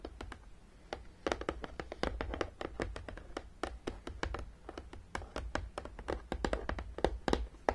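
Long, dark-painted nails on both hands tap and scratch along the top edge of a long, flat, hollow printed cardboard Battleship game box lying on a table. A rapid, uneven stream of short, sharp clicks is heard, each dying away almost instantly, with faint scratching between them and a soft, low background hum.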